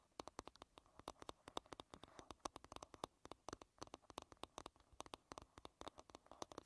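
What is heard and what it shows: Long red-painted nails tap and scratch the smooth, curved back of a solid light-wood paddle hairbrush lying bristles-down. About 46 quick, dry clicks ring out in an irregular, rapid patter, each short and bright with a midrange knock near 1 kHz. Soft scratching rustles fill the gaps between them at a low, close level.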